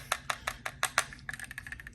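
An open plastic charging case for Shokz OpenFit open-ear earbuds, which also has a magnetic closure, is shaken with the buds held in place by magnets. It gives 13 short, bright plastic clicks and rattles: six louder clacks come first, then a quicker run of softer ticks. The buds stay securely in the case and do not fall out.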